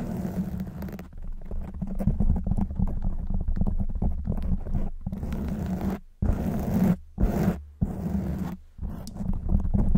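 Long white nails scratch a black foam windscreen on a silver microphone, producing a dense, low, rumbling scrape with a steady hum near 195 Hz. Rapid rough scratching runs in bursts, broken by a few brief silent gaps.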